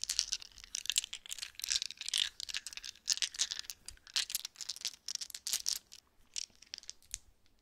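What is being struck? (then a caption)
Set of resin polyhedral dice. A set of small solid resin polyhedral dice is shaken between pressed-together palms, then held in open cupped hands above a soft blanket. The dice rattle against each other in dense bursts of bright, sharp clicks that die away almost instantly. The clicking thins out and grows quieter toward the end.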